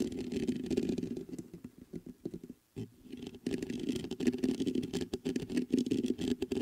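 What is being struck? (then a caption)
Metal condenser microphone grille and body. Fingertips scratch the mesh grille of a black metal USB condenser microphone on a stand, then tap its metal body. Dense, uneven scratching and patter sit mostly in a low-mid band around 250 Hz, dip into sparser, quieter taps in the middle, and then return to louder, busy scraping with short, dry hits that barely ring.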